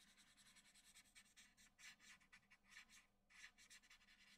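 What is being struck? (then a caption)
Graphite pencil on a paper drawing sheet. A hand-held graphite pencil scratches and shades around the lips of a graphite portrait on a large flat sheet of white drawing paper. Quiet, bright, dry scratching strokes come in an uneven rhythm of short bursts, with only a faint low hum underneath.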